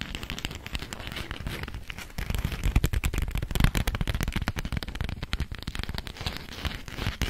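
A thin, yellow polka-dot beeswax-coated cotton food wrap sheet is held close to the microphone while long nails tap and scratch it. Dense crackling and crinkling follows, with quick taps and scratches over a strong low-end body, getting busier and louder after about two seconds and peaking with sharper taps around three to four seconds.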